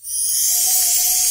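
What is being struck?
Nothing is struck.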